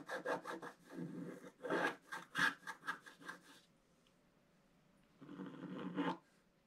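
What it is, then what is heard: Scratch art paper being scraped. A wooden stylus scratches a figure into a flat scratch art paper sheet with a black coating. About nine short, rasping strokes come in an uneven rhythm, then a pause, then one longer, steady scratch before the clip ends quietly.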